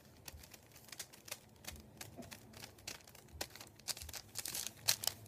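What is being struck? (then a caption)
Thin paper sheet on a wooden table. Fingertips tap, rub and crinkle a thin sheet of printed white paper lying on a wooden table. Soft, bright, crisp crackles and rustles come in quick, irregular bursts with almost no low end, growing a little louder and denser toward the end.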